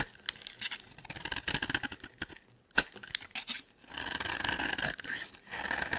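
A solid, dry, oval orange Palmolive soap bar held in the hand is scraped with a metal box-cutter blade, shaving off crumbly flakes. Short crisp, crunchy scrapes and tearing-like crackles come in bursts, with a sharp snap near the three-second mark, then settle into longer steady scraping strokes. The sound is bright and dry, with little low end and almost no ring.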